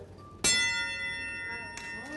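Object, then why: Solid aluminum rod. A piece of solid aluminum rod is tapped, giving a sharp strike followed by a bright, bell-like ring with many high, steady overtones that sustains for over a second. A second, lighter tap is heard near the end while the tone is still ringing.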